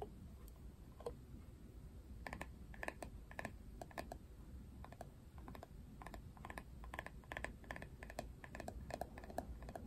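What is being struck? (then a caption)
Plastic paddle hairbrush back. Fingernails tap and scratch the flat, hollow-sounding printed plastic back of a Barbie plastic paddle hairbrush that has been turned over. Quick bursts of light, crisp clicking come and go over a quiet, steady low rumble.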